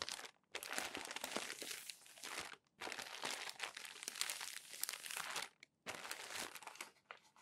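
Fingertips flip over the wrinkled pages of a crumpled glossy paper magazine. Bright, dense crinkling and crackling comes in several bursts separated by brief silent pauses, with almost no low end.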